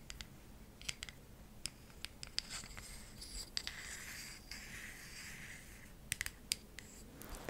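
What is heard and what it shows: A palm-sized, solid, round bamboo jar lid is tapped and scratched with long acrylic nails. Quick, sharp, bright clicks and taps come in scattered bursts between stretches of soft, hissy scratching. Each tap dies away almost at once.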